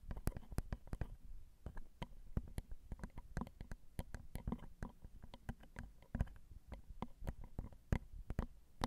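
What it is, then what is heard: Metal mic capsules on a recorder tapped with nails. Long acrylic nails tap the small, hollow, crossed silver metal X/Y microphone capsules on a Zoom recorder. The result is a steady run of quick, dry clicks over a deep, boomy low thump. Each tap is short, with a faint bright tick on top.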